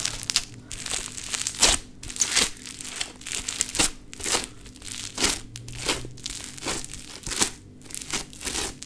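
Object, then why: Foam bead modelling clay. Pink play foam, a foam bead modelling clay, is stretched and squeezed between the palms, its beads sticking to the fingers. Bursts of dense, bright crinkling and crackling rise and fall in quick waves, with faint low rumble underneath.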